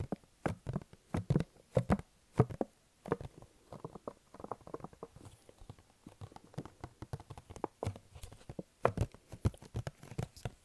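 Fingertips tap and stick-pull on the front face of a hollow, glossy pink printed cardboard box held in front of the face. The result is a quick, irregular run of dull, low, hollow taps that die away almost instantly. Softer sticky, crackling pulls fill the middle stretch between the louder taps.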